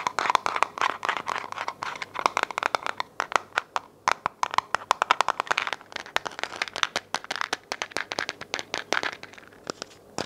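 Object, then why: Plastic vitamin bottle. Long nails tap and scratch a hollow white plastic vitamin bottle with a label, held sideways and then upright. Dozens of rapid, dry clicks and ticks with a hollow tone around 1 kHz mix with bright scratchy rasps. Each tap dies away almost instantly.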